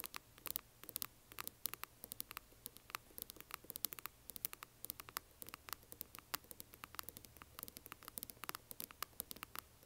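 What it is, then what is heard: Resin coffin box tapped with nails. Long nails tap and scratch a closed, hand-sized, hollow yellow translucent glitter resin or plastic coffin-shaped box resting on black cloth. Dozens of quick, sharp, bright clicks and faint scratchy rustles patter irregularly over a soft, steady low hum, each tap dying away almost instantly.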